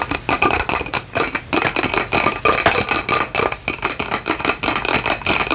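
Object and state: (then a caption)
Plastic lantern jar. A faceted clear plastic lantern jar with a white lid and fairy lights inside is held and tapped or scratched with long fingernails. The result is a quick, steady run of dry, bright clicks and scratchy taps with almost no low end, each one dying away fast.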